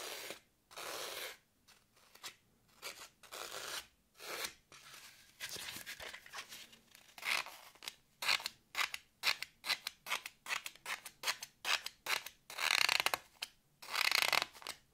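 Long nails scratch along the top edge of a solid green floral foam block with "ASMR" carved into it, held in hand. The result is a run of dry, bright, rasping strokes: longer swipes early on, then quicker, sharper scratches with almost no low end and no ring after each one.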